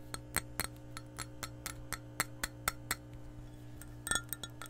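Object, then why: Glass measuring cup. Long nails tap the base and wall of an empty, hollow, clear glass measuring cup. They make a steady run of short, bright clinks with almost no ring, then a quick flurry of taps near the end, over a constant low hum.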